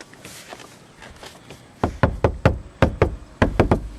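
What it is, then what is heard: Deadened steel roof panel, dull solid knock. Knuckles knock nine times on a section of a Jeep's steel roof panel covered with two layers of asphalt peel-and-seal deadening material, after a quiet stretch of faint background noise. Each knock is a dull, solid, low thud that dies away almost instantly, sounding like knocking on wood rather than hollow metal.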